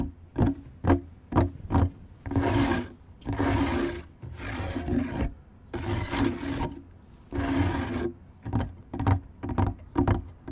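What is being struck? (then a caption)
Wooden deck boards. Fingertips and nails of both hands scratch and rub the large, solid, fixed planks of an outdoor wooden deck around a microphone laid on the boards. Short, sharp scratchy strokes alternate with longer, rasping rubs, all with a low, woody body and little high-end brightness.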